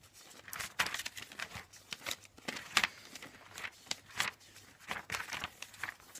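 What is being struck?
Glossy paper catalog.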